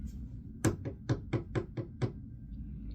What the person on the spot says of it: If I barely tap it on wood.